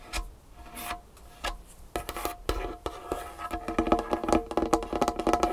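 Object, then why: Wooden tabletop. Long painted fingernails tap and scratch a large, solid dark wood tabletop, with the hands briefly lifted between strokes. Sparse, soft scratches and taps at first give way to quicker, louder, denser fingernail tapping in the second half. Each tap is a short, dry, woody click with a mid-pitched knock and almost no ring.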